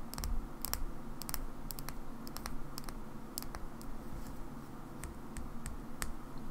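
A small black plastic Xbox rechargeable battery pack, hand-sized, is held in the fingers and tapped with long nails. Short, sharp, bright clicks come in slow, uneven taps over a steady low rumble.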